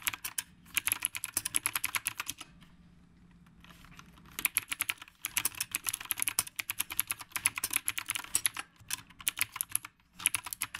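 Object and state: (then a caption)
Mechanical keyboard with round plastic keycaps. A typewriter-style mechanical keyboard with a dark body and round plastic keycaps is typed on steadily with the fingertips of both hands. Fast runs of bright, sharp clicks come in bursts, with a quiet pause of about two seconds early on and a few shorter gaps later.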